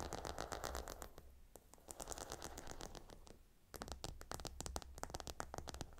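A fingernail scratches across the hexagonal stone tiles of a gemstone hot stone pillow, producing rapid, irregular scratchy clicks with bright, crisp ticks over a steady low hum. The scratching is busiest at the start, thins to quieter rustling in the middle, and then returns louder and denser toward the end.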